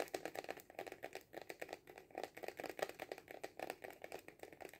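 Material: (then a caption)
Cardboard. Fingernails tap fast on a hollow cardboard kaleidoscope tube standing upright on a table, about 31 quick, dry taps in under five seconds. Each tap gives a short, hollow papery knock centred around 500 Hz, with little low end and a faint bright click on top, dying away almost at once.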